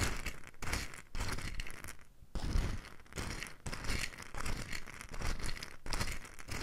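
A small, light wooden bowl full of loose mustard seeds is held in the hand close to the microphone and gently tilted and shaken, with long nails resting on the bowl's outer wall. The seeds shift and rattle in dense, grainy bursts of swishing hiss with a low, soft rumble beneath, broken by brief pauses and one longer lull midway.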